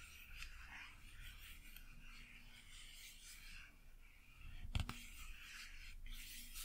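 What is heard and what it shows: Long acrylic nails tap and scratch a flat printed cardboard Blu Tack blister card with a thin, hollow backing. Soft, continuous scratching rasps are heard, with one sharp tap standing out near the end.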